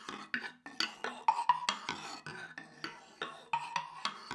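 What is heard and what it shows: A thin wooden stick is rubbed and scraped across the vertical slats of a light wooden instrument built around a hollow center and held by its handle. It produces a quick series of short, dry, rasping clicks with a hollow woody tone centered near 1 kHz and bright upper edges, each stopping almost at once.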